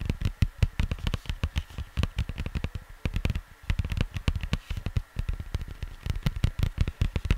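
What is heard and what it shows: Fingertips tap rapidly and unevenly on the cardboard sleeve of a vinyl record, making dull, low, papery thuds that die away almost instantly. A faint steady hum sits beneath the taps throughout.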